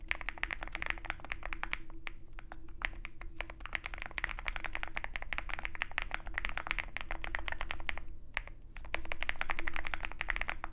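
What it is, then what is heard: Mechanical keyboard typing. Fingertips of both hands type continuously on a Zoom65 65% mechanical keyboard with white MT3-profile PBT keycaps and a dark aluminum case, which rests on a desk mat with a wooden wrist rest. Rapid, uneven streams of short, crisp clacks with a bright tick ride over a steady low hum, with brief lulls around the two- and eight-second marks before the typing picks back up.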